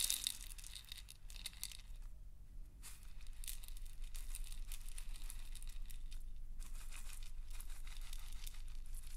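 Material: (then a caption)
Plastic. A clear plastic salt grinder with a black cap and a paper label, full of coarse pink Himalayan salt, is held horizontally, tilted and tapped with fingernails. The salt rattles and crunches inside in bright, dense, uneven bursts, with brief quieter pauses and a steady low hum underneath.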